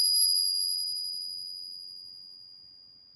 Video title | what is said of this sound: A Fake Walking Liberty Half Dollar from a REPUTABLE SOURCE? Uh Oh! | nice long ring that you expect to hear from 90% silver